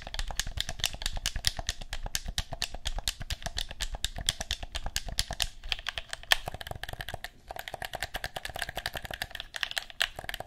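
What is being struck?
Plastic game controller buttons.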